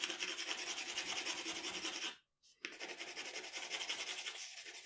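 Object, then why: Graphite pencil on a paper drawing sheet. The graphite tip of a wooden pencil scratches across a flat sheet of drawing paper lying on a dark table while shading the neck area of a portrait. A dense, bright, raspy scratching of quick strokes runs steadily, breaks off into a short silence just after the two-second mark, then resumes at similar strength.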